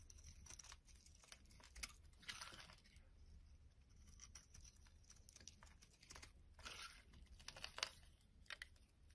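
A metal blade carves and scrapes a solid purple bar of soap into curled flakes. Soft, crisp scraping and crumbly crackles come in short bright bursts over a faint steady low hum, with no ring after each stroke.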